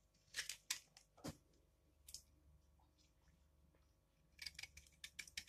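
A metal blade scrapes and shaves along the edge of a palm-sized, solid dry yellow laundry soap bar held in the left hand, leaving curls of soap piled up below. Crisp, bright scraping and crackling bursts come in quick clusters at the start and end, with a quieter stretch of faint rasping in between.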